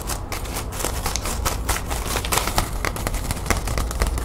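A small, light green metallic plastic ribbon gift bow is held in both hands while long nails scratch and squeeze it. Dense, rapid crinkles and crackles come in quick succession, with short bright ticks over a steady low rumble.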